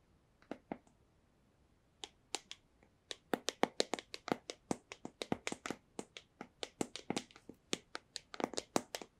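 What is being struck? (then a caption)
Small cardboard box. A small, hollow white cardboard AirPods box is held up and tapped sharply with long nails. Crisp, dry clicking taps with a hollow mid tone and bright tops stop instantly with no ring. A few sparse taps give way to quick, uneven bursts over a quiet background.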